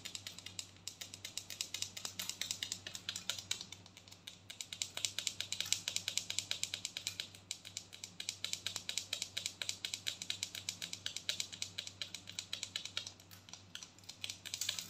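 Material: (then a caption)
Plastic. A large white plastic body scrub tub, held sideways, is tapped and scratched rapidly with long gold nails across its ridged lid and body. The result is a dense stream of sharp, dry clicks and scrapes, bright and crisp with almost no low end, each hit dying away almost instantly.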